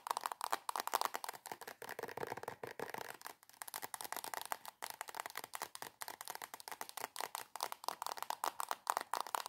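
Long acrylic nails rapidly tap and scratch a soft plastic squeeze tube of coconut body cream. The result is a quiet, dense stream of short, dry clicks and crinkly scrapes, centered in the midrange with a bright edge and almost no low end.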